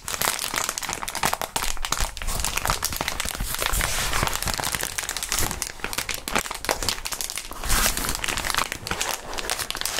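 Clear plastic bubble wrap is crumpled and squeezed by gloved fingertips in front of the microphones. A dense, continuous crinkling runs for the full ten seconds, broken up by sharp crackles and pops that reach up into the bright high end.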